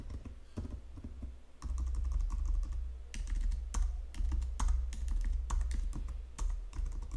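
Fingertips with long nails tap the number pad of a white plastic Logitech full-size keyboard, then type on the main keys. Short, sharp plastic clicks come in an irregular rhythm over a steady low hum. The typing grows louder and busier after the first second and a half.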